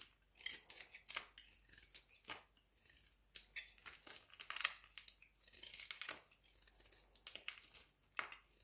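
A solid square beige soap cube held in the palm is shaved quickly with a utility knife blade. Each stroke gives a soft, dry, crisp scraping rasp, bright and hissy with almost no low end. The strokes come in a rapid, uneven run of overlapping bursts.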